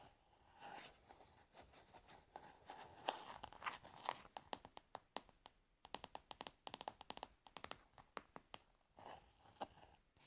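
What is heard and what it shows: Long nails scratch and tap the frosted translucent bottom and labeled side of a tilted plastic cosmetic pad jar. Soft, crinkly scratching gives way to rapid, sharp, bright clicks that die out almost instantly, with a hollow tone around 780 Hz.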